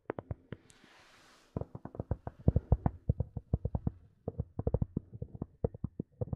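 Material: Plastic.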